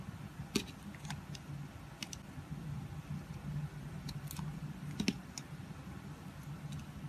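A palm-sized solid pink soap bar stamped "Love Nature" is held in the hand and shaved with a red box-cutter blade. Short, bright scraping clicks come at irregular intervals over a steady low hum.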